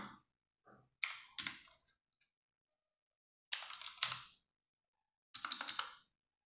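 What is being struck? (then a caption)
Plastic mechanical keyboard keys. Fingertips type on a compact 60% mechanical keyboard with RGB-backlit plastic keycaps, giving short bursts of bright, clacky keystrokes separated by pauses. Each click is crisp and dies away almost at once, with quick clusters of presses around the first second, the fourth second and the fifth to sixth seconds.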